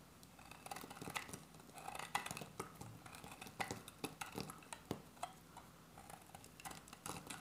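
A solid, dry beige soap bar held in the hand is shaved with a metal utility-knife blade in a quick series of scraping cuts. Each stroke gives a short, crisp, crumbly scrape with bright, papery high end and almost no ring, rising and falling quietly in steady rhythm.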